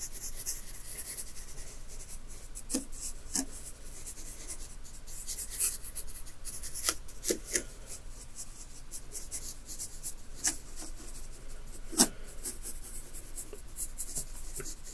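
A hand drags a short wooden stick through fine dry white sand in a zen garden tray with dense ridged patterns, scratching and raking lines. It makes a soft, steady, bright scratching hiss over a low constant hum, broken by about nine sharper little ticks as the stick catches.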